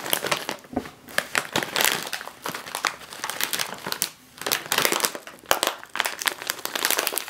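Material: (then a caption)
Plastic foil. Fingertips and long nails press and crinkle a full, sealed, foil-lined plastic chip bag resting on a table, flipping it over partway through. The result is dense, bright crinkling in rapid overlapping bursts with almost no low end and a brief lull around the four-second mark.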